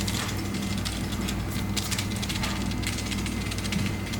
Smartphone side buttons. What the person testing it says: the buttons rattle on the side a lot whenever you shake it, so it doesn't necessarily scream premium